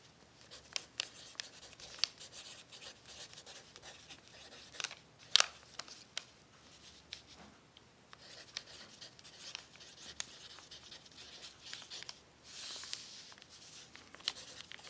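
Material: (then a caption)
Paper. A pencil tip writes across a thin, crumpled brown paper sheet lying on a table. Quiet, bright scratching and crinkling continue throughout, broken by sharp little ticks and rustles. A louder crackle comes near the middle, and a brief hiss of rubbing follows later.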